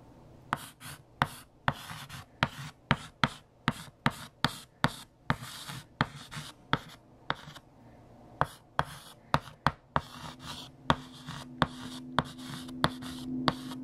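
A hand writes on a large, flat, solid black chalkboard with a green chalk stick. About 26 sharp chalk taps and short scratching strokes are heard, each dying away almost instantly, with faint scraping between them. Toward the end, a low steady hum rises beneath the strokes.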